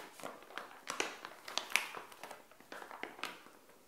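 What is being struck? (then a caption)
Thin plastic packaging pouch. Long acrylic nails tap and scratch the surface of a small, flat, printed plastic SHEIN pouch with a bikini inside, lying on a tile floor. Quiet, irregular, crisp clicks and scratchy plastic crinkles sound bright and thin, with almost no low end and no ring, and a few sharper taps stand out.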